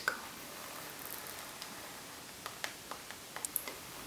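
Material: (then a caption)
Faux leather. Long coral nails scratch and tap the surface of a medium flat makeup pouch in rose gold pebbled faux leather with a metal logo plate, lying on a wooden table. A quiet, steady scratchy hiss runs under several short, sharp, bright ticks, clustered mostly toward the end. Each tap stops dead with no ring.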